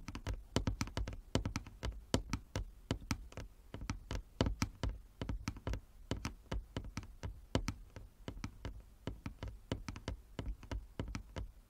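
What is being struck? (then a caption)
Wooden chess board. A wooden chess board is tapped with the fingernails, giving a rapid, irregular run of sharp knocking sounds. Each short, dry tap has a dull low thump beneath it and dies away almost instantly, and some land harder than others.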